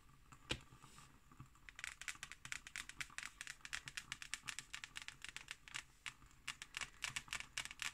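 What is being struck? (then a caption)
Hardcover book with an embossed cover. Long nails tap and scratch the embossed, patterned cover of a solid hardcover book lying on a table. After one sharp tap and a quiet stretch, a quick, uneven run of dry, crisp clicks and scrapes follows at about four per second. The sound is bright and high-pitched, with very little low end and almost no ring.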